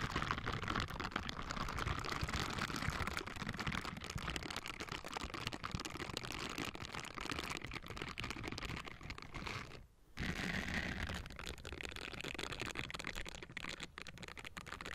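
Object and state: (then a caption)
Metal microphone grille being scrubbed. Both hands wearing pink silicone scrubbing gloves with bristled palms and fingers scratch and brush the hollow metal mesh dome grille of a Blue Yeti USB microphone. The result is a dense, continuous, crackly scratching and rustling with a deep rumble and bright hiss, broken by a brief near-silent pause about two-thirds of the way through before the rubbing resumes.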